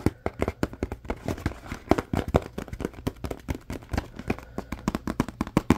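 Fingertips tap, squeeze and handle a small empty paperboard Scrub Daddy sponge box with its top flaps open. A rapid, uneven run of dull, dry taps and crinkly scrapes follows, each dying out almost at once, with most of the sound low and muffled and little high brightness.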